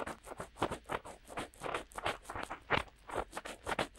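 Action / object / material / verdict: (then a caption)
scrape / soft silicone ear-shaped microphone cups / silicone / none. Fingertips of both hands rub and scratch in and around the openings of the soft, hollow silicone ear-shaped cups on either side of a DuoPop-style binaural microphone with a black body and white ears, imitating ear cleaning. The result is a quiet, close run of soft rustling scratches and pats, each decaying quickly, with a mid-range body, a bright airy hiss on top and almost no low end.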